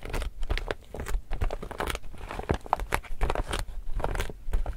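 An empty, glossy laminated woven polypropylene reusable tote bag is held in both hands while fingertips and nails rub, scratch and press its laminated surface. Dense, irregular crinkling and crackling sounds in quick bursts with sharp scratchy snaps, heavy in the low end.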